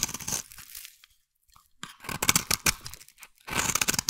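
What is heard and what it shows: A metal blade scrapes a solid, hand-sized, cream-white bar of soap, cutting off fine shavings. Bright, crisp scraping and tearing bursts come in three clusters, separated by a short near-silent pause and a brief lull.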